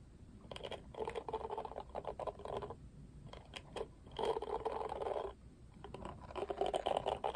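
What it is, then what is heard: Plastic cushion hairbrush bristles strummed. A palm and fingertips rub and strum the black, pink-tipped bristles of a pink-rimmed oval plastic cushion hairbrush. Soft, scratchy rustling comes in three longer bursts, centered in the mids, with quick bright ticks scattered between them. Each tick is dry and dies away almost at once, leaving a quiet background between strokes.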